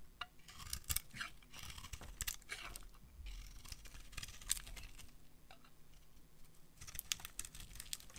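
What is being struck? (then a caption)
Bar of soap scraped by a metal blade. A metal blade scrapes curls off the flat face of a solid orange-peach dry soap bar. Crisp, dry, bright scraping strokes come in short bursts over a faint low rumble, each stroke stopping sharply with almost no ring.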